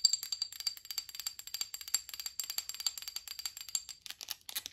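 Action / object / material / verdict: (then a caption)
tap / small amber glass bottle / glass / none. Long acrylic nails tap and scratch a small, hollow amber-brown glass supplement or oil bottle with a white label and black cap. About thirty quick, crisp clicks are heard, with a faint high ring from the glass and a brief bright scratching on the label near the end. The sound is dry and bright, with almost no low end and no lingering resonance.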